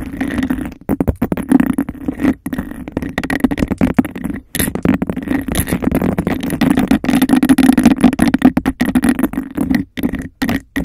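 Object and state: Textured glass cup scratched and tapped.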